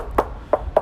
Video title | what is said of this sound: 창덕여중 건설 구조물 탐방 vlog(창덕여중 원격수업) | 우리가 충격을 가했을 때 이 상대적으로 가벼운 소리가 난다고 볼 수가 있죠